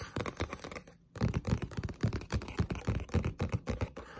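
Long pointed nails tap fast on the back cover of a green Zelda paperback manga lying flat, a solid paper book. The result is a rapid, uneven stream of dull, low-pitched taps with almost no ring. A brief pause comes about a second in.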